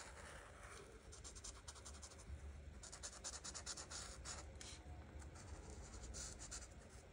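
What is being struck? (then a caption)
Marker tip on paper coloring page. An art marker tip is rubbed over a flat paper coloring book page in coloring strokes. It makes soft, bright scratchy swishes in quick bursts over a faint low rumble, and the bursts grow denser and louder in the middle of the clip.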